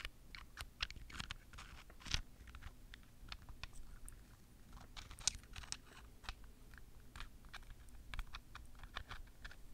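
A small, palm-sized, solid purple amethyst crystal cluster is held in one hand and tapped and scratched on its pointed crystal faces with long fingernails. Quick, sharp, high clicks and brief scratches repeat irregularly over a low, steady background hum.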